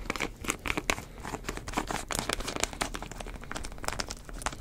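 Fingertips twist and rub the white plastic screw cap on a medium plastic drink bottle with a green label, which seems to hold liquid. A dense run of quick, bright lid clicks and crinkles is heard, with short dry snaps and no lingering ring.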